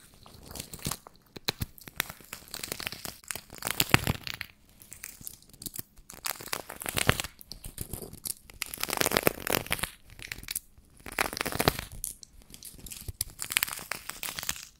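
A small sequin-covered fabric pouch is held close to the microphone while its sequins are rubbed and scratched with nails and fingertips. The result is dense, bright crinkling and crackling scratches that come in bursts with brief quiet gaps between them.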